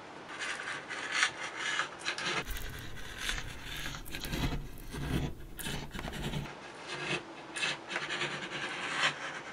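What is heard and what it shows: A small metal scraper held in the fingers scrapes a thick layer of candle wax off a flat printed Christmas serving tray, lifting it away in curls. Dry, bright scratching and rasping strokes repeat throughout. The middle stretch is fuller, with more low rumble under the scraping.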